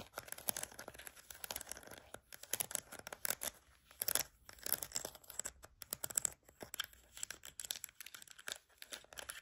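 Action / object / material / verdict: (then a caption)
scrape / plastic flower-shaped vented lid / plastic / none. Long nails tap and scratch the rim and slotted vents of an orange plastic flower-shaped vented lid with gel beads visible underneath. The result is a quiet, steady stream of crisp, dry clicks and scratchy rasps, bright and thin with almost no low end and no ringing after each contact.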